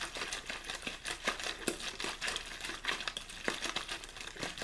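One hand squeezes and crinkles an empty, hollow, partly crumpled clear plastic water bottle with a blue label. The result is a steady run of dense, bright crackles and sharp pops with very little low end, each snap dying away almost at once.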